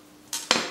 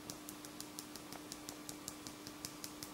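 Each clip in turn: First: wet silk nail wrap, glue not yet dry. Second: dry silk nail wrap.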